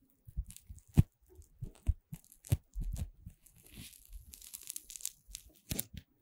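A long chain of green puffed corn-starch foam playcorn pieces is held horizontally in both hands while fingertips with long red nails squeeze, bend and twist the joined segments. The result is an irregular series of soft, dry rustling and squeaking crunches with a few sharper snaps, mostly low in tone with brief bright crackles.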